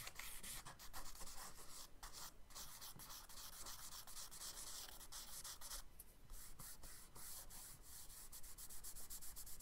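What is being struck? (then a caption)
Charcoal stick on kraft paper sketchbook page. A charcoal stick is dragged in sweeping rubbing strokes across a page of a spiral-bound brown kraft paper sketchbook lying flat. Soft, steady scratchy rubbing with bright hiss and a low rumble continues throughout, with short strokes starting and stopping.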